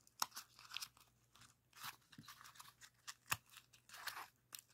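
A rainbow origami pop-it made of folded colored paper with hollow paper cells is pushed in and popped with thumbs and fingertips. About nine sharp, bright, papery pops and crunches stand out among softer crinkling, with almost no low end and no ring after each snap. The whole clip stays quiet and close.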